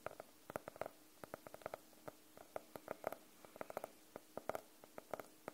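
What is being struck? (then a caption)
Faux-leather hardcover notebook. A closed navy faux-leather hardcover notebook is tapped with the nails of both hands and tilted at the end. Some 26 quick, dry clicks come in an uneven rhythm, each with a short hollow tone near 630 Hz and a bright edge, dying away almost at once over a quiet background.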